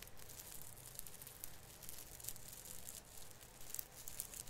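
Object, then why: Plastic needles of an artificial fir branch. Fingertips repeatedly rub and pinch the tip of a plastic artificial Christmas tree branch, an artificial fir with plastic needles. The result is a soft, steady crinkling with bright, high crackles and brief sharp ticks over a low rumble.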